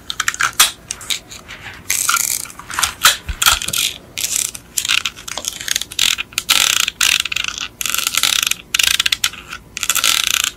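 Long acrylic nails tap and scratch the black plastic underside of a yellow die-cast Beetle model car held upside down, moving over its metal engine and axle parts. The result is crisp, dry clicks mixed with bright, rasping scratch bursts that stop quickly, with almost no low end.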